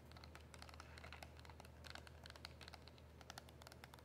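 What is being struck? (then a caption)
Small cardboard box with plastic window. Long nails tap and scratch a small, hollow cardboard box of mint press-on nails with a plastic window. The result is a quiet, steady stream of crisp, bright clicks and light scratchy crinkles over a constant low hum.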